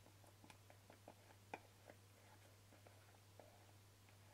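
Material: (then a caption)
Plastic. Fingertips and short nails tap the white plastic lid and side of a small, hollow white plastic jar with a green paper label, held in the hand. A quick series of light, dry, hollow clicks with a bright edge sounds over a steady low hum, with one sharper, louder tap near the middle. Each tap dies away almost instantly, and the whole clip stays quiet.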